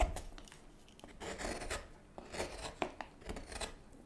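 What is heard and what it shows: A hook knife with a wooden handle scrapes and carves shavings from inside the hollowed bowl of a light-coloured solid wooden spoon blank held in gloved hands. Soft, rasping scrapes swell and fade in a steady rhythm, with a few sharper clicks as the blade catches the wood. The strokes are quiet and dry, with brief bright hiss at their peaks.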